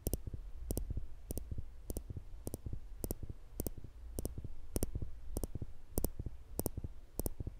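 Small, slender steel tweezers, held in the fingertips just above a black microphone, have their thin solid metal tips pinched together to make clicks. The clicks are short, sharp, and bright, with no ring. They come in quick double taps at a steady rhythm, over a low, constant hum.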